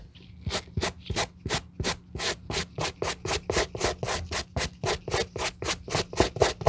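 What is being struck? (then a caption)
Suede leather sneaker upper. A gloved hand scrubs a white bristle suede brush back and forth over the nap of an empty grey-brown suede sneaker upper. About 25 quick, bright scratchy brushing strokes come at roughly four per second, each a short rasp with a soft low thump under it.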